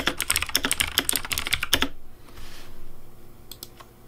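Fingertips type quickly on a pink plastic Razer DeathAdder V3 Pink mechanical keyboard with purple lighting, giving a run of bright, sharp clacks with a soft low thump beneath them. The typing stops just before two seconds, leaving a quiet hush broken by a few faint clicks near the end.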